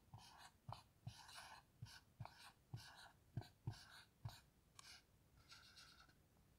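A black dry-erase marker writes letters across a small, flat dry-erase whiteboard with a plastic frame and grid-textured surface, resting on a table and held steady by one long-nailed hand. Quiet, bright scratching and gliding strokes come in quick, uneven bursts, with short low taps as the marker tip meets the board.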